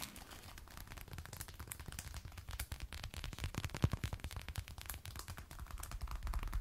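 Long red and black nails scratch and tap on the shaft and lacing of a glossy black lace-up faux leather thigh-high boot worn on the leg. A dense run of quick, dry taps and scrapes has a deep, thumping body and crisp clicks on top. The taps grow louder near the middle, where one tap stands out sharply.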